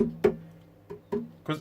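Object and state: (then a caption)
Acoustic guitar with a loose tuner button rattling. Four knocks and taps on the body of a wooden Blueridge acoustic guitar with its strings muted, each giving a short woody thud with a faint buzzing rattle around 400 Hz. The rattle is a fault first suspected to be a loose truss rod, but traced to a loose tuning key wing, the "butter bean" button.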